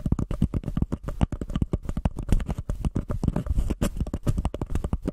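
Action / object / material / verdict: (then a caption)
tap / paper cup / paper / none. A small, empty white paper cup with an embossed textured surface sits upside down over a microphone and is scratched and tapped with long painted fingernails from both hands. A rapid, uneven run of short, dull, hollow taps and scrapes is heard, heavy in low tones with almost no brightness, each tick dying away at once.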